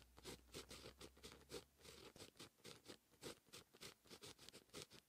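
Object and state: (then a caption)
Pen writing on a paper notebook page. A grey-gripped fine pen writes line after line of handwriting on a lined white paper page in a notebook. Quiet, bright scratching comes in quick, short bursts as the nib drags across the paper in continuous strokes, with a faint low hum during the first second.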